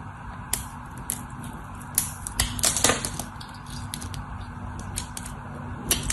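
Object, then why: Solid bar of soap cut with a craft knife. A solid white bar of soap held in the hand is chipped and carved with a craft knife, flakes breaking off as the blade scrapes through it. Sharp, bright clicks and crisp snaps come at an irregular pace over a low, steady hiss, with a denser cluster of cuts around the middle and another near the end.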